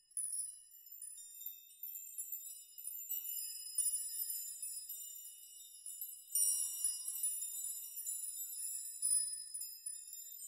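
Hands push through a steel nail chime, many long hanging steel nails, rocking bunches of them so they clink together. The result is a quiet, continuous shimmer of bright, high metallic tinkling with no low end, swelling into louder clusters of jangling as each new bunch is shaken.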